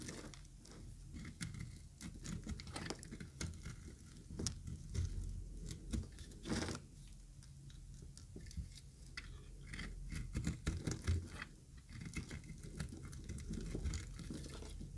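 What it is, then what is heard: Dry bar soap being scraped and cut. A utility knife blade scrapes and cuts the surface of a dry, yellow-green solid bar of soap. Many quick, crisp scratching clicks and short crumbly cuts come in irregular bursts over a steady low rumble, with each sound dying away almost at once.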